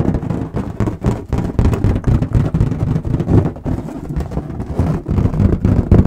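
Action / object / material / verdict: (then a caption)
tap / inflated latex balloon / latex / none. Long nails and fingertips tap quickly on the skin of an inflated, hollow, air-filled red latex balloon held in both hands. The rapid, uneven tapping makes dull, deep thumps that blend into a continuous low rumble with little brightness.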